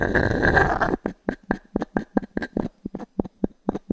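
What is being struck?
Pine log-slice coaster tapped with a small wooden cube.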